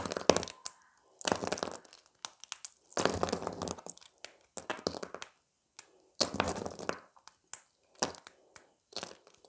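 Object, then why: Thin plate of dried soap. A small, thin, flat beige piece of dried soap, solid and brittle, is held in both hands and snapped into smaller bits with the fingertips over a pile of soap fragments. Sharp, dry cracks and crunchy crumbling come in short bursts separated by brief silences. Each snap carries a bright crackle with almost no ring.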